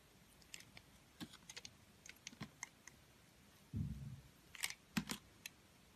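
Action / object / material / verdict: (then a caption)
scrape / soap bar carved with a utility blade / soap / none. A snap-off utility blade scrapes and carves the surface of a solid multicolored confetti soap bar held in the hand. Short, crisp ticking scrapes and clicks come in scattered bursts, with bright high edges and a soft low thump. About two-thirds of the way through, one longer, rougher scrape is the loudest stroke.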